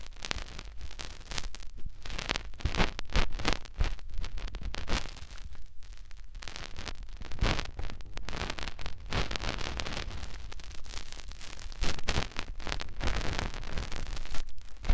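Fingertips rub and press into the canal of a white, soft silicone ear on a white binaural microphone body. The result is a steady stream of close, crackly scratching and rustling with dense, fast friction bursts and a heavy low rumble. There are no pauses or clear tones.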